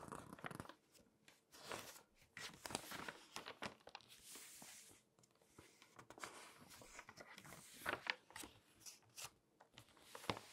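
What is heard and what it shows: The pages of an open glossy paper magazine are flipped and rubbed with long nails, making quiet, bright crinkling and swishing rustles. Short bursts of papery scratching come in uneven clusters, with soft pauses between page turns.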